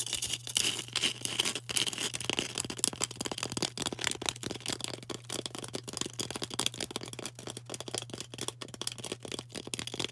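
A solid green floral foam brick is turned in the hands while long orange nails tap and scratch its faces and edges. The result is a dense, irregular stream of crisp, bright scratches and dry clicks over a faint steady low hum.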